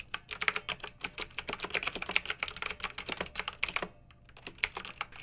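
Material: Plastic.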